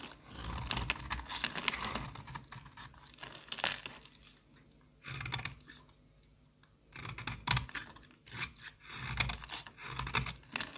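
A hand-held metal box-cutter blade scrapes flakes off the edge of a partly carved solid pink bar of soap. It makes bright, dry crackling and shaving bursts that come in uneven strokes, with short quiet pauses between runs of scraping.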